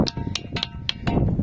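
A ringing stone boulder is struck six times in quick succession, each hit giving a short, bright clink with a metallic, iron-like ring that fades fast. Low rumbling background noise fills the gaps between strikes.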